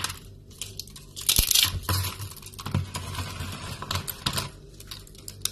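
Fingertips grab, crumble and break thin, brittle strips and flakes of dry yellow soap shavings on a wooden board. Dense, bright crackling and crunching fill the clip, with soft low thumps, a louder burst of crunching early on, and quieter rustles between crushes.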